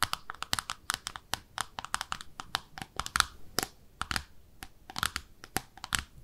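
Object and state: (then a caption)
Ceramic soap dish tapped with fingernails. Long nails tap rapidly and irregularly on the underside of a small, pink, speckled ceramic soap dish shaped like a bathtub. Each tap is a sharp, bright click with a faint hard tone, cutting off almost instantly with no ring.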